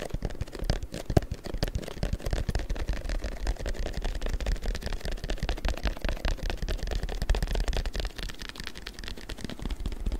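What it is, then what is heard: Printed paper strip. A long, thin printed paper strip is held taut and tapped and rubbed with the fingers. The result is a dense, steady run of quick, dry taps and crinkly rubbing with a soft, low-heavy thump and almost no ring. It keeps an even, close level throughout.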